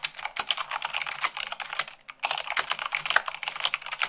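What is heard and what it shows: Long pink nails and fingertips type fast, at about 98 words per minute, on a full-size mechanical keyboard with white plastic keycaps on a black frame. A dense stream of bright, short plastic clicks and clacks with no low end pauses briefly at the midpoint, then resumes.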